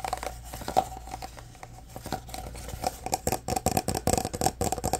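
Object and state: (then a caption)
Plastic drink bottle, full. Fingernails tap and scratch a full orange Prime plastic bottle with a cap and plastic label. Soft crinkly scratching gives way to a quickening run of short, dry clicks with a faint hollow ring around 760 Hz. A steady low hum sits underneath throughout.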